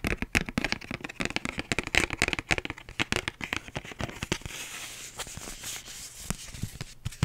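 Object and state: Paper envelope.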